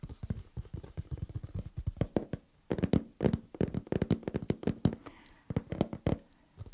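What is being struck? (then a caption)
Cardboard advent calendar box. Long painted nails and fingertips tap on the flat top of a large, hollow burgundy cardboard advent calendar chest with many small drawers and metal-look knobs. The result is a quick, uneven run of short, dry, low thuds, about 35 taps over 6.7 seconds, with brief pauses between bursts.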